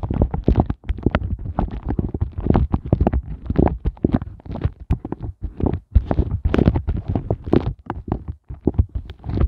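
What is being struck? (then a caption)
Silicone ice cube mold. Fingertips with glittery nails tap and scratch quickly over an empty, upside-down pink silicone ice cube mold of hollow heart shapes. The result is a dense run of soft, muffled, bass-heavy thumps mixed with faint scratching, with a few brief pauses between bursts.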